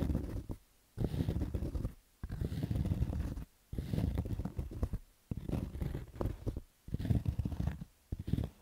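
Fingernails scratch along the stitched rows of a black cotton baseball cap's crown, making dull, low, muffled rasping. The scratching comes in short, rough bursts separated by brief pauses of near silence.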